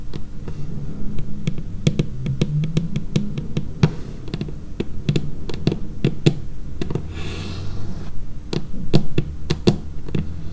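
Long painted fingernails tap on a dark laminated wooden tabletop in a quick, irregular patter. Each tap gives a short, dry click with a bright tip and a low, woody body that dies away almost at once, over a steady low background rumble.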